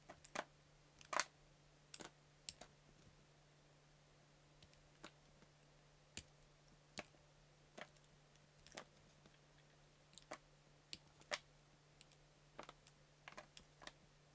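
A palm-size, solid multicolor layered soap cube is cut into thin slices with a yellow utility knife. The repeated cutting and scraping makes short, crisp, bright clicks at an irregular pace, over a faint steady low hum.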